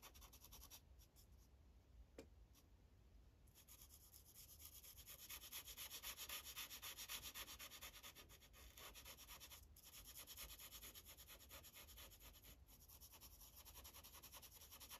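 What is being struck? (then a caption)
Felt-tip marker on a paper sheet on a clipboard. An orange felt-tip Sharpie marker rubs and scratches over a thin printed paper coloring page resting on a hard clipboard in quick coloring strokes. The result is a soft, rapid, bright hiss at roughly four strokes per second, quieter at first and then growing denser and louder through the middle before easing back.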